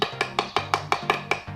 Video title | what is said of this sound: 【ガレージ diy】ガレージのスロープ作り 前途多難で超疲弊 @2 | 浮いている場所を叩くと・・分かりますかね？軽い音になっています